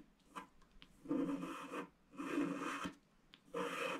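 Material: Wax coating.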